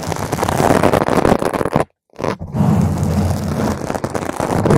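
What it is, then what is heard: Foam microphone windscreen being scratched. Long pointed green acrylic nails scratch a purple spherical foam cover on a microphone, making dense, crunchy, muffled scraping that is heavy in the low end. The scratching breaks off into a brief silence just before the two-second mark, then resumes as a steady rustling crunch and finishes with single-nail touches.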